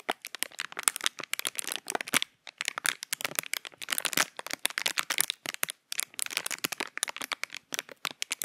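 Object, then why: Thin clear plastic packaging. A small, empty, hollow piece of clear plastic packaging is held in both hands close to the microphone while fingertips crinkle and squeeze it. The result is a dense run of sharp, bright crackles and crinkles with a few brief pauses, almost no low end, and no ringing after each snap.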